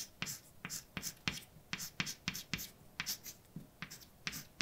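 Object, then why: Chalk on a blackboard. A hand writes letters with white chalk on a large, dark, flat chalkboard. About fifteen short, bright scrapes and taps come in quick, uneven succession, each dying away almost at once.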